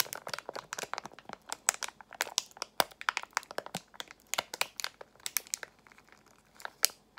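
A small resealable Extra gum pouch of foil-lined plastic, partly filled, is squeezed and crinkled with long acrylic nails and fingertips. A dense run of sharp, bright crackles and crinkles comes in quick bursts with almost no low end. The activity thins briefly near the end before a final loud crinkle.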